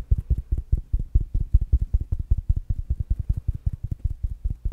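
A small, rounded black smart speaker with a fabric mesh cover is held up and tapped with fingertips and nails. About 30 quick, dull, low thuds come in a fast, uneven rhythm, each dying away almost at once.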